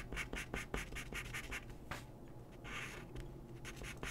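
A pencil makes repeated scratching and shading strokes on a thin white paper drawing sheet resting on a wooden desk, while the other hand steadies the sheet. Short, bright, scratchy strokes come in a quick, uneven rhythm, broken by a longer, softer shading swish partway through. A faint low hum sits underneath.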